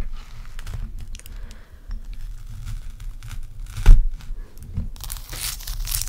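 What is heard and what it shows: Long acrylic nails scratch and tap on a large, clear, solid block of ice resting on a striped towel. Soft crinkly scraping runs over a low rumble, with one sharper tap near the four-second mark. A brighter, hissing scratch builds toward the end.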